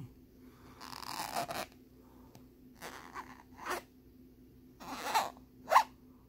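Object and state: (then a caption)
Plastic lenticular card scratched. Fingertips and nails scratch and rub the ridged surface of a thin plastic lenticular bear card lying on a wooden board. The result is a series of short, dry, bright scraping bursts separated by quiet gaps, with the last few sharper and louder. A faint steady low hum runs underneath.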